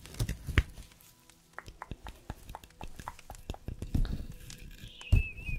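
A small decorative Christmas tree made of stacked paper layers, set in a small pot and solid, is held in one hand while fingertips and nails scratch and rub the paper layers. This produces a quick series of dry, soft taps and papery scrapes with dull low thumps. A faint thin tone sounds near the end.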